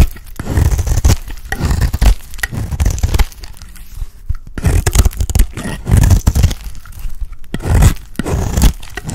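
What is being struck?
Soap bar scraped with a small metal blade.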